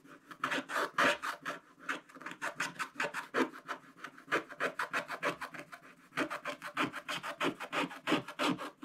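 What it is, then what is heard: Scratch-art paper being scraped. A wooden stylus rubs the coating off large areas of a black-coated scratch-art card page in a spiral book. It makes a rapid, uneven run of short, dry, rasping strokes with bright, papery scraping. There is a brief lighter pause near the six-second mark before the strokes pick up again.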